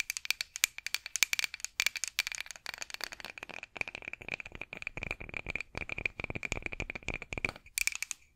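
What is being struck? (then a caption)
Wooden rolling pin scratched with fingernails. A solid, light wooden rolling pin with handles, held over the microphone, is scratched with long acrylic nails. The result is a fast, dense run of dry, clicky scratches and rattling taps with a bright, high-pitched ring near 2.3 kHz. The sound has almost no low end, and its bursts come in quick clusters that thin out slightly before a final flurry.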